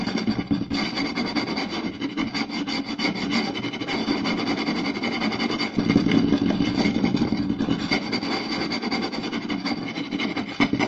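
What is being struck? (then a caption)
Round wooden plate. Two hands quickly scratch and tap the surface of a round, solid wooden plate with a rim groove, using fingertips and short nails. The result is a dense, continuous raspy scratching laced with rapid, irregular dry taps and a mid-low woody body, growing a little louder just before the midpoint.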